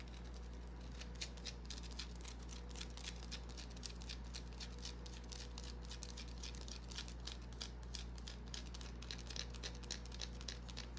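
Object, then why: Small bar of soap. Long nails scratch and tap the surface of a small, solid white bar of soap held in the palm. The result is a quick, irregular run of short, dry, bright clicks and scrapes over a steady low hum.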